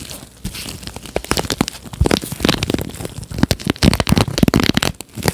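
Nitrile-gloved fingertips pluck and scratch across the many plastic-tipped bristles of a red plastic paddle hairbrush held behind the mic. The result is a dense run of sharp, dry crackling clicks and scratchy ticks with bright edges and soft low thumps underneath, in uneven bursts that grow busier toward the end.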